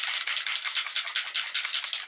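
A pot of Black Amber glitter model paint is shaken hard before airbrushing so the small glitter flakes inside mix well. The result is a fast, bright rattle made of about a dozen quick pulses with no low end, running for just over two seconds.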